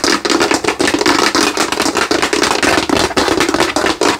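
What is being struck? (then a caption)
Hollow plastic skull lamp. Long nails and fingertips quickly tap and scratch across the cranium and face of a hand-sized, hollow translucent plastic Halloween skull lamp glowing orange, held up close. A dense, rapid stream of dry, clicky taps and bright scratching rasps sits over a hollow plastic tone around 300 Hz, each tap dying almost instantly with no ring.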